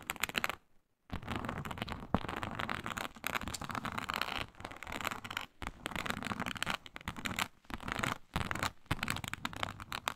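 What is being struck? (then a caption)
Textured synthetic leather sheet scratched with fingernails. Long nails scratch vigorously across a flat, iridescent, snakeskin-textured faux leather sheet. The scratching is dense, dry and bright, in rapid bursts, with a brief silent pause near the start and short gaps between strokes.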